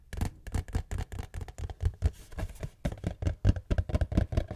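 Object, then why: Cardboard tissue box. A cube-shaped cardboard tissue box is tapped with fingertips and nails in a quick, uneven run of short, dull, hollow-sounding taps, each dying away almost instantly, with some brighter scratchy clicks on top. The box is then turned over to show its bottom.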